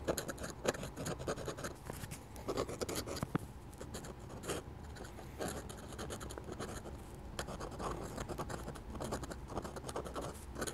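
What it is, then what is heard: Steel dip pen nib scratching on paper. A hand holds a dark-handled dip pen whose steel nib scratches hatching lines onto a flat sheet of drawing paper while inking a drawing of a church. The clip is a quiet, steady run of short, dry scratching strokes with bright, papery rasps and no ring.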